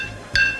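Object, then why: Glass bottle of cachaça. A glass bottle of cachaça is tapped once, giving a bright, high-pitched clink centered around 1.6 kHz. The ringing tone sustains for about a quarter second before fading.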